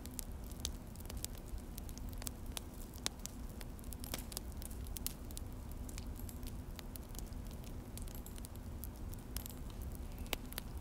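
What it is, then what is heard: Mechanical keyboard typing. Both hands type with their fingertips on a full-size Akko mechanical keyboard with an orange plastic case and black plastic HyperX keycaps, resting on a desk. Quick, sharp, bright key clicks and taps patter irregularly throughout. Underneath them runs a steady low rumble with a faint hum.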